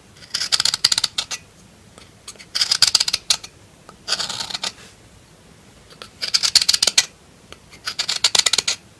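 A solid pink bar of soap is scraped and carved with a metal knife in many short strokes. Bursts of crisp, bright scraping clicks come in five clusters separated by quiet pauses, each stroke dying away almost instantly.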